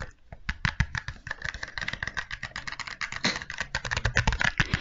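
A small, hollow white and green cardboard box is turned in the hands and tapped with long nails close to the microphone. A rapid, uneven run of short, dry clicks and knocks follows, with hollow low thumps under bright, papery taps that die away almost at once.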